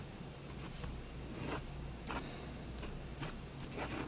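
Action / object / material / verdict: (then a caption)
scrape / pen tip on a paper sheet / paper / none. A fine pen tip draws slow strokes across a white sheet of drawing paper resting on a desk. The strokes come through as short, soft, bright scratches over a steady low hum.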